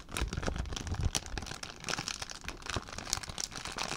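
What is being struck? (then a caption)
Plastic zip-lock bag. An empty clear plastic zip-lock bag is crumpled and crinkled by hand for about four seconds. The crinkling is dense and unbroken, with bright, crackly snaps over soft low rustling thumps. The crackles stop almost instantly, leaving no ring.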